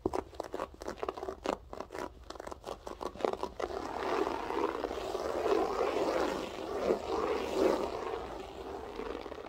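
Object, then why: Loop-pile floor carpet. Long acrylic nails tap and scratch a flat beige loop-pile carpet with a textured loop pile. A quick, uneven series of dry taps comes first, then gives way to a steady, rough scratching with a crunchy, scraping texture centered in the midrange.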